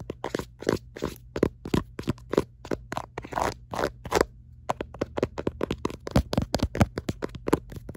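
Long nails scratch and tap quickly across the ribbed back of a black silicone phone case. The result is a rapid run of dry, crunchy scrapes and clicks with a brief pause near the middle, over a steady low hum.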